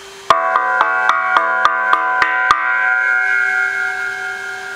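A cheap steel eBay exhaust muffler is tapped nine times in quick succession, each tap giving a bright, hollow metallic ping. The pings build into a sustained ringing tone around 1.1 kHz that carries on after the last tap. The muffler has a silencer but no sound packing inside, which is why it sounds hollow and raspy.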